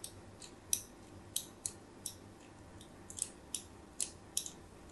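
A metal blade scratches diagonal score lines into a solid white embossed soap bar held in a hand with pink nails. About twelve short, bright, crisp scraping clicks stand out over a quiet low hiss, each fading almost instantly.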